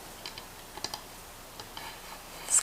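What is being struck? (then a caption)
Wooden cutting board. A handmade wooden cutting board that is starting to dry out and needs oil is tapped lightly. Several short, crisp, bright taps sound against a quiet background, with a louder rustling scrape at the end.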